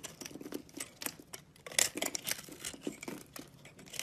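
A utility knife with a green handle scrapes and shaves the sparkly pink crystal core of a palm-sized round soap with an orange shell, held in one hand. The clip is made of a quick run of dry, crisp scraping strokes that crackle brightly with almost no low end. Each stroke ends at once, with the loudest bursts near the middle.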